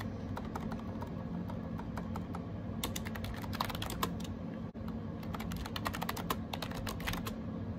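Fingertips type rapidly on a gray AJAZZ 308i wireless Bluetooth keyboard with round plastic keycaps. Light, crisp key taps with bright clicky edges run steadily over a constant low hum. There is a brief drop to near silence just before the five-second mark, then the typing continues.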